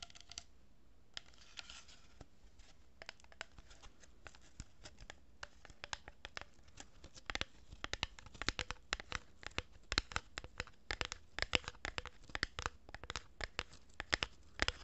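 A hollow cardboard tube with plastic pearl beads is held horizontally above the mic while fingertips and nails rub and scratch the cardboard. The result is a quiet stream of dry, bright scratching and crinkly rustle broken by many short, sharp ticks. The ticks grow denser and louder in the second half.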